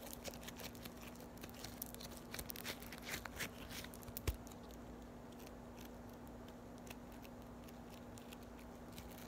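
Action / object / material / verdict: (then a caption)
tap / floam, polystyrene foam beads in slime / foam beads / none. Fingers with long nails roll, fold and press a solid ball of yellow floam, foam beads in slime. Quiet, bright crunching and crackling come in dense clusters, with one sharper pop near the middle. The sound then thins to softer crinkles over a steady low hum.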